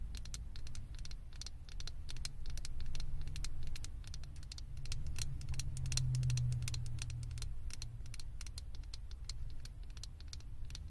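A small hollow blue plastic Stitch head on a microphone is tapped on its top and sides with long acrylic nails. Quick, irregular, bright plastic clicks patter steadily throughout, over a constant low hum.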